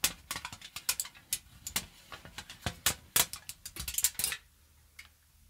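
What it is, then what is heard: Aluminium foil being crumpled. A crumpled thin aluminium foil sheet is held in both hands near the mic and crinkled and scrunched with fingertips and long nails. It makes a rapid series of sharp, bright, crackling crinkles with very little low end. The crinkling stops after about four seconds, leaving near silence broken by one faint final crackle.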